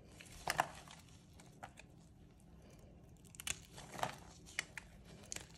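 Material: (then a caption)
Soap. A thin metal blade held in pink-gloved hands scores and scrapes grooves into the face of a solid white rectangular bar of dry soap, lifting curled strips over a wooden tray of shavings. Short, dry, crisp crunching and crinkling scrapes with bright edges come in uneven bursts, separated by quiet stretches and faint low background noise.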